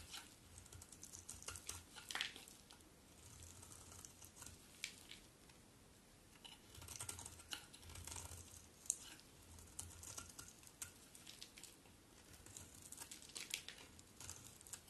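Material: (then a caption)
Soap. A solid white bar of soap held in the hand is shaved with a utility knife blade. The result is soft, bright, crisp scraping and crackling strokes with quick clicky edges, arriving in bursts with brief pauses, over a faint low rumble.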